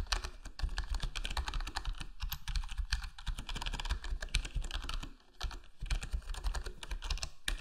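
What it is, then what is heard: Plastic keyboard being typed on. A full-size black plastic HyperX Alloy Core gaming keyboard with square plastic keycaps and a foam-dampened case is typed on by the fingertips of both hands. The result is a steady, rapid patter of soft, muffled key taps with a deep low thump and a brief pause near the five-second mark.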